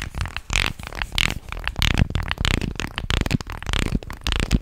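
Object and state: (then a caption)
Wooden fish guiro, scraped. A light, solid-wood fish-shaped guiro with carved ridges is held horizontally in both hands while fingers and fingernails scrape and rub along its grooves. Rough, ratcheting bursts come in quick, uneven strokes, with a low buzzy body and bright, crackly edges. Each stroke cuts off dry with almost no ring.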